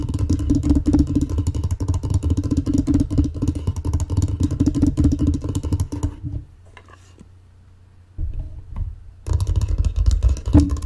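Long painted fingernails scratch and tap the flat top of a closed, folded, light wooden mancala board that is hollow with carved pits inside, while loose glass marbles lie untouched nearby on the table. A dense, rapid, low, hollow-sounding clatter of scratches and taps runs for about six seconds, fades into near silence, then briefly returns before picking up again at full strength near the end.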